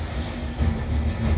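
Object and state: Nothing is struck.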